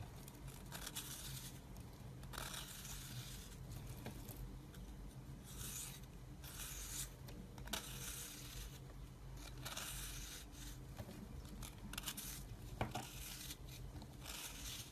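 A metal blade shaves layered flakes off a solid round pink bar of soap held in the hand. The clip has quiet, dry scraping and crisp shaving strokes, with bright rasping bursts over a steady low hum.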